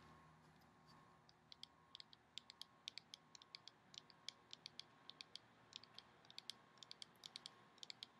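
Long painted nails tap and scratch on the sides of a small taupe plastic Living Proof styling cream bottle with a white cap, held in the hand, hollow and apparently filled with product. A quiet, rapid series of short, bright clicks and ticks sounds over a faint steady hiss, each click dying away almost instantly.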